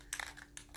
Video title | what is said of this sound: #109 Acrylic Pouring - How I finish my paintings | You can hear the ball in there clunking around, shaking up the enamel